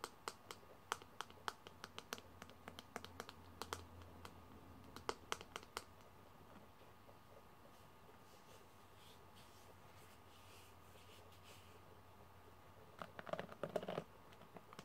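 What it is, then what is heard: Plastic hairbrush with metal pins. Fingertips tap the back of a pink plastic paddle hairbrush with metal pins held in the hand and strum its pin bristles, making sharp, bright clicks in quick bursts over the first six seconds. After a quieter stretch of soft scratchy rustling, a dense cluster of taps and strums returns near the end, over a faint steady hum and a thin tone.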